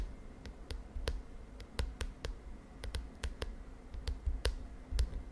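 Long nails tap and scratch the lilac plastic cover of a spiral notebook. An irregular series of sharp, bright clicks rings out over a steady low rumble, each tap dying away almost instantly.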